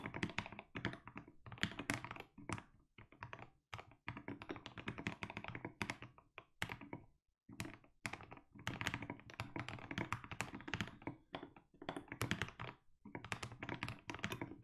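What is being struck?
Mechanical keyboard with plastic keycaps.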